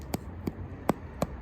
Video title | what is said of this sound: Damper in a dutch oven - worlds worse FAIL !!!!! | sounds nice. They say flick it and it's, if it's hollow sounding